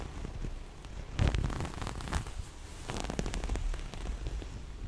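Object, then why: Small fabric pouch with zipper. A small, soft, floral-print cloth pouch with a black zipper edge and a hollow body is scratched by long nails, which also run along the zipper. The result is dense, close-up crackling and scratching with a low, muffled body and bright, ticking bursts. The loudest scrapes come near the start and again midway.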